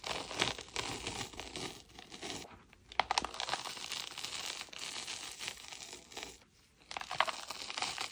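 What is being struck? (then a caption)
Packed powdered chalk dome. Hands squeeze and crumble a solid, packed powdered-chalk dome as chunks and dust fall away. Dense, bright crunching and crinkling runs in bursts, with short quiet dips around 2.7 and 6.5 seconds and a few sharper cracks.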